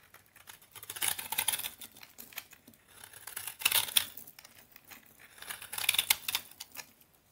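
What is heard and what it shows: A utility knife blade scrapes across the face of a solid orange vintage Soviet toilet soap bar that is already partly carved, shaving off crunchy curls. Dry, bright crackling scrapes come in three main bursts with quieter pauses between, shaving soap curls from the bar.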